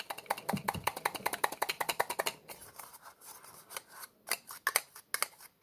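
Fingers twist and pull the white plastic cap off a small, hollow orange plastic medicine bottle with a label, working it against the threads. A rapid, uneven series of sharp, bright plastic clicks and ticks is heard, dense at first, then thinning into scattered scrapes and louder snaps.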